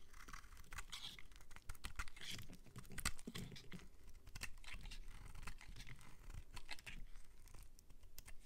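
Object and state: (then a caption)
Soap bar scraped with a blade. A metal utility-knife blade scrapes and shaves curls off the edge and surface of a solid, palm-sized white bar of soap held in the hand. It makes a dense run of quick, dry, crackly scraping strokes with bright, papery crunch over a low, steady rumble.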